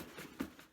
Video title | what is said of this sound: Book Scents Refill Program - Shipping Your Containers | there's nothing broken in here I can tell there's no broken glass you know jingle jangling around in here